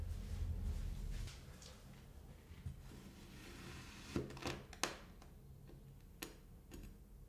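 A steel kitchen knife blade slices crunchy cuts into a small, solid, molded square block of kinetic sand. After a low rumbling opening, about five short, sharp, dry crunches stand out against a quiet background, each fading almost instantly with a bright edge.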